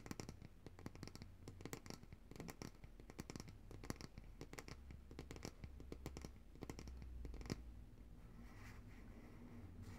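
Long nails tap and scratch the glass sides of a large glass jar of coconut oil, full of white solid oil and held upright in both hands. Quiet, rapid, dry clicks and scratchy strokes follow one another with almost no ring, over a steady low hum. After about 7.5 seconds the sharp taps stop and only a softer, continuous scratching remains.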